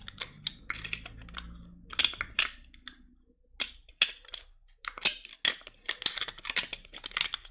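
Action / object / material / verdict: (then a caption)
tap / plastic cosmetic jar / plastic / none. Long acrylic nails tap and scratch the lid and sides of a small, hand-held white plastic face cream jar with a solid wall and a silver-banded lid. The result is a rapid, uneven series of bright, dry clicks and brief scratchy rasps with almost no ring, separated by short pauses. A faint low hum sits underneath near the start.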